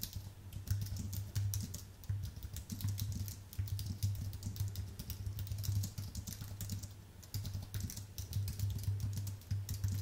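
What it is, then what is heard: Aluminium and plastic computer keyboard being typed on. Rapid fingertip typing with both hands on a white Apple full-size keyboard with an aluminium base and plastic keys. Dense, continuous key clicks with bright, crisp tops ride over a steady low thump near 100 Hz, with brief pauses between bursts.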